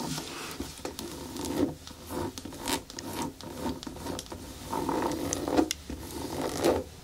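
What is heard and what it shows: Long nails scratch and tap along the shaft and toe of a single hollow, empty black natural rubber boot standing upright on a table. The result is a run of dry, rasping rubs and scrapes broken by soft midrange taps that die away at once with no ring.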